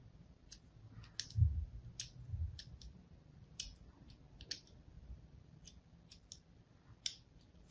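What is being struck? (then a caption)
Soap bar. A thin blade scores a grid into a hand-held, solid pink and white striped soap bar. Short, crisp, bright clicks and scratches come one after another over a soft low rumble of handling.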